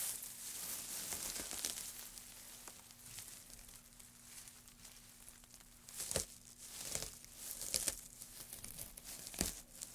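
Gloved hands scoop up and crumple a heap of thin wood shavings, then let them drop back onto the pile. The result is a bright, dry crinkling and rustling with sharp crackles, growing louder in bursts toward the end. A faint, steady low hum runs underneath throughout.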